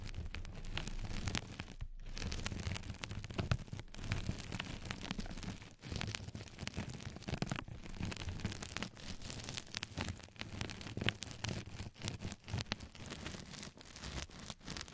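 Long fingernails of both hands scratch across the surface and edges of a flat yellow knitted-mesh scrub sponge pad laid over a microphone. The result is a continuous, dense scratchy rustle with a heavy low rumble underneath and brief bright crackles throughout, dipping only for short moments between strokes.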